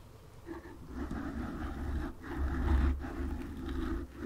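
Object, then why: Foam microphone windscreen. Long nails slowly scratch a black foam windscreen on a microphone. The result is a close, muffled rustling scrape with a heavy low rumble that swells and fades in waves, briefly dipping twice before picking up again.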